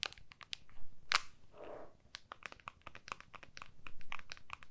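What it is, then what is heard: Smartphone in plastic case, nail tapping. Long nails of both hands tap the back of an iPhone in a clear plastic case, held flat with its back facing up. Quick, irregular, crisp plastic clicks follow one another, each short and bright, with a brief softer scraping sound partway through. A faint low rumble sits underneath.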